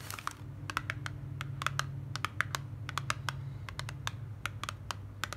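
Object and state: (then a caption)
Paperboard cosmetic carton. Long black nails tap and scratch the front of a slim white printed paperboard box for moisturising cream held in the hand, making a quick run of sharp, dry clicks. The taps are bright, with a soft scratchy texture between them, over a steady low hum.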